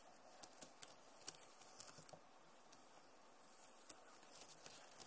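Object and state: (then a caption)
Plastic laptop keyboard tapped with nails. Long nails tap quickly on the keys of a backlit plastic laptop keyboard, making quiet, irregular, bright clicks over a soft low hiss. Several sharper taps stand out in the first half and near the end, each dying away instantly.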